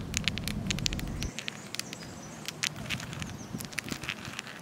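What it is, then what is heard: Granite stone. A granite stone in a park by a lake is tapped, apparently with long nails, producing rapid, irregular bright clicks that sound like crackling patter. A low rumble underlies the first second before dropping away, leaving the dry taps over quiet outdoor background.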